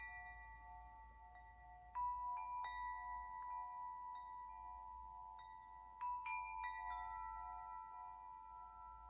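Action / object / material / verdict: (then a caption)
strike / metal tube wind chime / metal / none. A metal tube wind chime, its long hollow tubes held up by the top ring, is struck and shaken by hand so the tubes ring against the clapper. Two bright clusters of clanging tones burst out, settling into a sustained shimmering chord centered near 1 kHz. Each cluster rings on for several seconds over a low background rumble.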